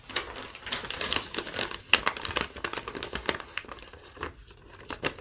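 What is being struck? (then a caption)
Thin paper sheet. Long nails tap, scratch and crinkle a thin yellow lined legal-pad sheet that has been rolled and flattened. A dense run of bright, dry crackles and sharp little ticks fills the clip, mostly high-pitched with almost no low end. Each tap dies off instantly.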